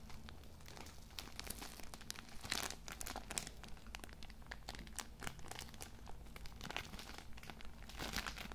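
A palm-sized or slightly larger Cool Mint pocket tissue multipack, wrapped in thin plastic film and soft and filled with small tissue packs, is held in both hands and squeezed and rubbed with the fingertips. Its wrapper gives off a dense, continuous run of bright crinkles and crackles with a steady low hum underneath.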